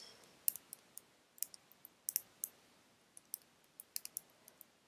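Long red nails tap on a small, full glass bottle of pink nail polish with a black cap. The result is a quiet, irregular series of sharp, bright clicks that die away almost instantly, with almost no low end.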